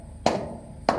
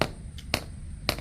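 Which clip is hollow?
The first.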